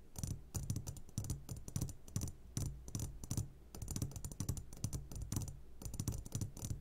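A medium glass jar turned upside down and full of sugared gummy candies is tapped on its sides with the short fingertips of both hands. The result is a fast run of dull, low taps with a faint bright glassy click on top. They come in quick bursts with brief pauses between them.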